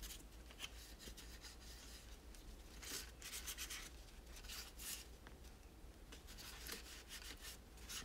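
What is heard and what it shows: A hollow plastic toy tower with spiral ramps is held and rubbed with a microfiber cloth. Soft, bright swishing strokes come in quick uneven bursts over a steady low hum, staying quiet throughout.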